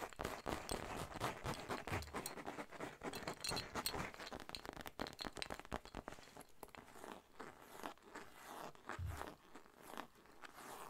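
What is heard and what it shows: Long nails scratch and tap a soft, hollow cream textured fabric zip pouch with a pink monogram, held in both hands and possibly worked near the zipper. A dense, uneven run of crisp, bright scratching and rustling carries through with quick taps, and a couple of soft low thumps come near the two- and nine-second marks.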